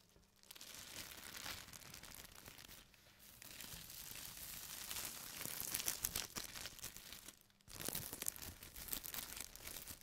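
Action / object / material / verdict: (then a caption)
scrape / thin plastic bag / plastic / none. The edge of a large, thin, empty white printed plastic bag is folded and rolled by hand, making a dense, bright crinkling with sharp crackles. The crinkling comes in three bursts separated by brief near-silent pauses, with most of the energy in the high range and little low end.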